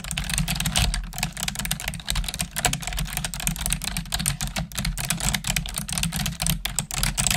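Long nails and fingertips type quickly on the keys of a black plastic desktop keyboard, making a dense, continuous stream of bright, clicky taps and clacks. A steady low hum runs underneath the typing.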